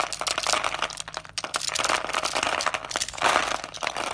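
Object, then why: Soap bar. A utility knife blade scrapes through a solid, hand-sized, bright green dry soap bar pre-scored in a grid, crunching off cubes. The sound is a steady run of dry, crackling crunches and scraping, bright and crisp with almost no low end, as the pieces break away.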